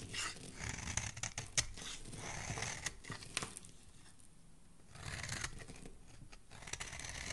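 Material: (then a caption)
Soap. The edges of a solid pale yellow soap bar are shaved with a metal blade, giving a series of crisp, bright scraping and crackling strokes with short sharp clicks. A soft low rumble runs underneath, and the shaving quiets for a moment midway before resuming.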